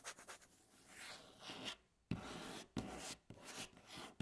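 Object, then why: Wooden tabletop. Long natural nail tips scratch along the surface of a solid, light wooden tabletop. Quiet, dry rasping strokes come in uneven bursts with a bright, hissy texture, broken by a few sharper, knock-like onsets that fade quickly.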